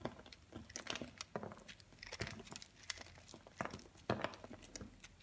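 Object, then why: Pressed-chunk soap bar scraped with a blade. A utility knife blade scrapes across a hand-held round soap bar made of pressed multicolored chunks, shaving off crumbly flakes. The result is a dry crinkling, crunching texture of many quick, uneven scrapes over a soft hiss, with bright high edges on the sharper strokes.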